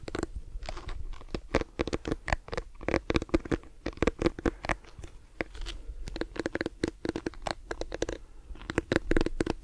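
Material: Plastic.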